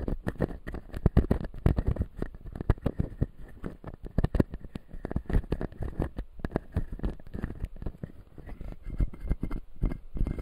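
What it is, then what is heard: Plastic dental teeth model. Fingertips and nails tap and scratch the white plastic teeth of a hand-sized, solid, full clear acrylic dental model. Dense, rapid clicks and soft scrapes follow one another with no pause, each dry and short. The energy sits mostly low, with a faint band around 2 kHz.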